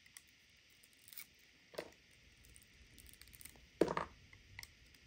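A hand-sized solid white bar of soap, held in a palm with long white nails, is shaved and cut with a serrated metal knife, producing flakes. Quiet, soft scraping and crisp shaving strokes come in short bursts over a faint background hiss. A louder, rougher cut lands near the end before the strokes fade back to gentle scraping.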